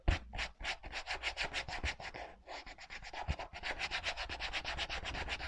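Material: Rubber.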